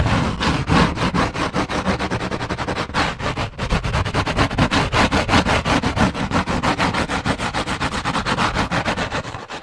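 Long nails scratch quickly back and forth across a thick white textured paper card held at an angle. The result is a fast, steady run of short, dry, rasping strokes, about three per second, with bright broadband hiss and a soft low undertone.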